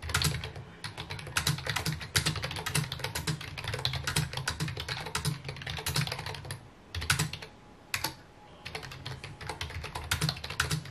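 Fingertips of both hands type rapidly on a full-size white plastic computer keyboard with mint keycaps resting on a wooden desk. The dense, steady stream of key taps has bright clacks over a low thump, with brief pauses near the 7- and 8-second marks. Each tap dies away almost at once.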